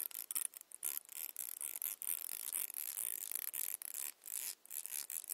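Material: Plastic.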